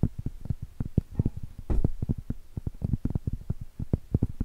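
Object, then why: Flat cork trivet tapped with fingernails. Long stiletto acrylic nails tap and scratch on a round, flat, solid cork trivet. A rapid, uneven series of soft, dull taps sits mostly in the low range with almost no bright content, and each tap stops dead with no ring. A brief, slightly louder scratching burst comes near the middle.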